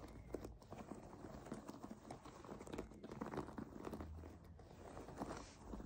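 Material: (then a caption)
Plastic foam. Long nails tap and scratch across the textured back of a white plastic foam bath pillow with clear suction cups, lying flat. The result is a quiet, steady stream of soft, dull taps and crinkly scratches that blur together, with a muffled, low-to-mid tone and little brightness.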